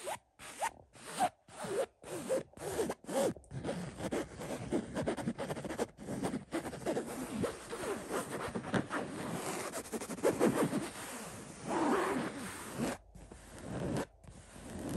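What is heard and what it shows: Fingertips of both hands scratch the surface of a cotton throw pillow covered in floral-print woven fabric. The result is dry, raspy scratching that starts as short strokes separated by brief silences, then runs together into a denser, steady rustle. A few pauses return near the end.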